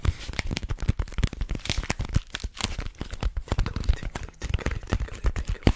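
Long fingernails scratch and tap along a long, hollow white tube of rolled paper held in both hands. A dense, fast run of dry crinkling scratches and short papery taps follows, each dying away almost at once, with a soft, hollow low thump under the brighter rustle.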